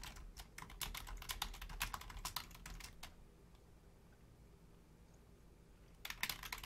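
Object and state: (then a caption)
Plastic computer keyboard being typed on. Long painted nails and fingertips type on the low-profile keys of a full-size black plastic Logitech keyboard, producing quick, irregular, bright clicky taps with short dry decays. The typing runs for about three seconds, pauses into low background hiss, then resumes briefly at the end.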